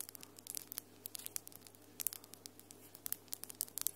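Long, solid almond-shaped acrylic nails with glitter polish tap and rub against each other quickly between the hands. The result is a rapid, uneven run of sharp, bright clicks with soft scratchy rubbing in between, over a faint steady low hum.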